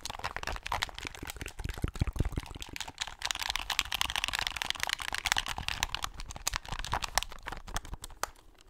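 A hand-sized hollow plastic game controller with buttons is held in both hands close to the mic while fingertips tap and click its buttons and shell. Rapid, dry, bright clicks and taps follow one another with almost no ring, in a steady dense stream that thins slightly toward the end.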